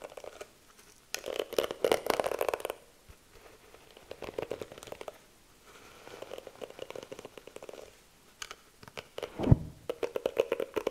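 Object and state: Plastic hairbrush bristles scratched.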